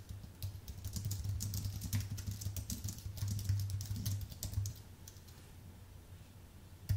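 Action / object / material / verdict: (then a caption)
tap / aluminium and plastic computer keyboard / plastic, aluminium / none. Fingertips type on a white Apple full-size keyboard with an aluminium base and plastic keys, producing quick, irregular bright clicks over a steady low hum. The typing is busiest for the first few seconds, then thins out as the hands move to the lower row near the end, closing on a single sharp click.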